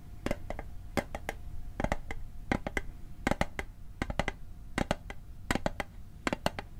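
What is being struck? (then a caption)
Small metal mint tin. Fingertips tap the lid and edge of a small, hollow, rectangular metal Altoids mint tin held over the microphone. The taps come in quick bursts of three or four, sharp and bright, with a faint metallic ping that dies almost at once. A low, steady background rumble sits underneath.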